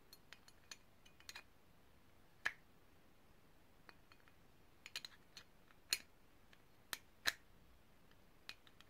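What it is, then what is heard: Brass herb grinder, tapped. A small, hollow, ridged brass herb grinder, held in the hands, is tapped and scratched with long painted nails. About a dozen sharp, bright clicks and ticks land at irregular intervals over a quiet background. Each one dies away almost instantly, with a faint metallic ping near 1.7 kHz on the strongest taps.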